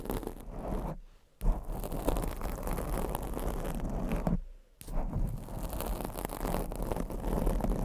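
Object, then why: Foam microphone windscreen. Long blue nails and fingertips scratch and rub the black foam windscreen on a microphone, producing dense, muffled scraping and rustling. The sound is heavy in the low end and stops briefly twice before resuming.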